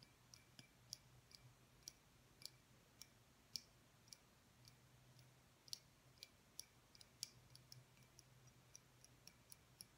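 A small, clear, hollow glass light bulb with a visible filament is held upright between both hands and tapped with the fingertips and nails. About two dozen quiet, sharp, bright ticks come at an irregular pace, each dying away almost instantly. A faint low hum comes and goes underneath.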